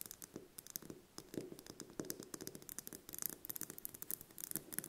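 A small, whole brown hen's egg is held in the hand and tapped and scratched with long painted fingernails. Quick, dry clicks and scratchy strokes follow one another in an irregular, rapid stream, each with a bright, crisp edge over a light hollow body. The sound stays quiet and close throughout.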